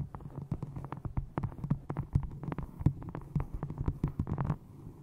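A small hardcover book with a textured brown faux leather cover is held upright in front of a microphone and tapped and scratched with long nails. Quick, dull, low thuds come in an uneven stream, each dying away almost at once, with faint scratchy brushing between them.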